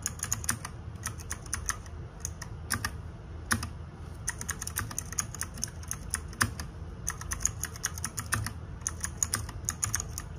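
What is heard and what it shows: Fingertips and nails type rapidly on the plastic keycaps of a small RGB-backlit 60% mechanical keyboard. Bursts of short, bright clacks come in quick runs with brief pauses, over a steady low rumble.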